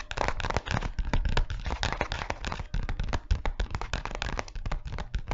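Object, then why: Clear PVC zip pouch. A flat, empty-looking clear PVC pencil pouch with a Lego print and a red zipper, held in both hands close in front of a microphone, is tapped and scratched with long fingernails. Rapid, uneven crackling taps and crinkly scratches follow one another without a break, with a heavy low thump under each tap and a short, dry decay.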